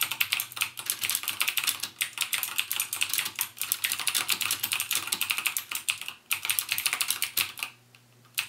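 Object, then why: Plastic mechanical keyboard. Fingertips type rapidly on the clicky Cherry MX Blue switch keys of a backlit plastic mechanical gaming keyboard. Sharp, bright clacks come in a dense, steady stream, then pause briefly near the end before typing resumes.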